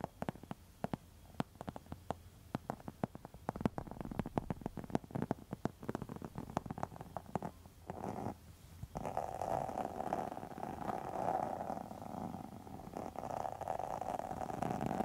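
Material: Faux leather.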